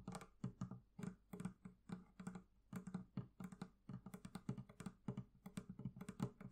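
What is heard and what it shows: Fingers tap rapidly on the leather covering of a barrel chest, producing an uneven run of soft, dull, low thumps. Each tap is short and muffled, dying away almost at once with no ring.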